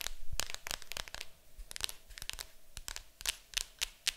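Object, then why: Cardboard game box lid. Long acrylic nails scratch and tap the lid of a large, hollow, printed cardboard board game box. A rapid, uneven run of dry, bright clicks and short scratchy strokes sounds over a faint low rumble, each tap dying away almost at once.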